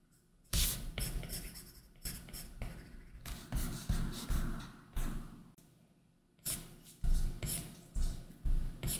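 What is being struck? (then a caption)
Plastic stylus tip on a tablet glass screen with a matte plastic film. A plastic Apple Pencil tip drags across a large iPad Pro's solid glass screen, which is covered by a matte Paperlike plastic screen protector, in drawing strokes. A series of scratchy, tapping strokes starts with sharp onsets and fades quickly, with a dull low thump under a bright, papery rasp and brief quiet gaps between bursts.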